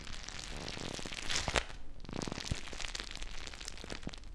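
A small clear plastic bag full of teal gel water beads is held close to the mic and squeezed and crinkled by fingertips with long nails. Dense crackling and soft squishing run throughout, with a brighter burst of crinkling around the middle and a few sharper pops.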